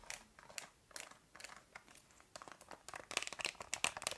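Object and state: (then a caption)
Plastic TV remote. Long nails tap and scratch the rubber buttons of a black plastic TV remote, producing quiet, dry, crinkly clicks and scrapes in an irregular rhythm. The sound is bright and thin with almost no low end, and each tap dies away instantly, growing busier and slightly louder toward the end.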